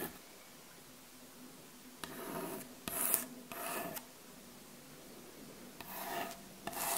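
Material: Wood.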